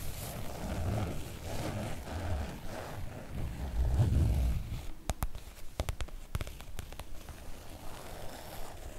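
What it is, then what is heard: Oilcloth make-up bag. Long acrylic nails scratch and drag across the coated surface of a floral PVC-coated oilcloth make-up bag, making a low, rough rubbing and scraping that swells around the fourth second. The scratching then thins out into a scattering of sharp, bright clicks before soft dragging returns at the end.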